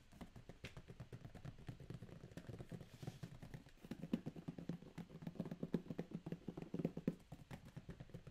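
Fingertips and short nails rapidly tap and scratch the top and labels of a closed, medium corrugated cardboard shipping box sealed with a green tape strip. The taps land as a steady stream of soft, dull, hollow thumps with short, dry scratchy ticks, quiet and low-pitched with no ring. The tapping grows slightly firmer toward the middle of the clip.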